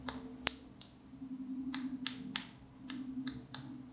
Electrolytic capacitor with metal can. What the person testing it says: mengetes seperti ini Sentil suaranya nyaring